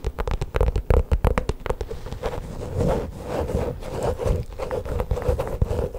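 Long pink acrylic nails tap and scratch a flat, hollow, black padded faux leather pouch held up close. A quick run of dull, thumpy taps comes first, then a steadier rough scratching with a soft mid-range rasp, all heavy in low thuds and with almost no bright content.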